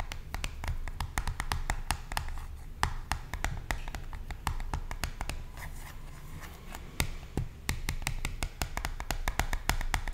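Long nails tap rapidly on the surface of a small, hollow, blue printed cardboard box. The result is a steady stream of sharp, bright clicks with quick decay over a low, continuous rumble.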